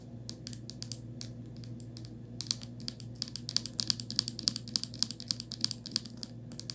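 Long acrylic nails tap and scratch the ribbed plastic cap and body of a small white plastic Crest toothpaste tube resting on quilted fabric. Quick, irregular, bright, dry clicks with no ring pick up in pace and loudness partway through. A faint steady low hum runs underneath.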